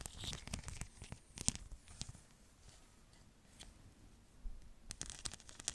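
A flexible sheet covered in small plastic rhinestones is scratched and tapped with long nails. Dry, crinkly scratching and sharp, bright tapping clicks cluster at the start and again near the end, with a quieter stretch of soft rustling in between.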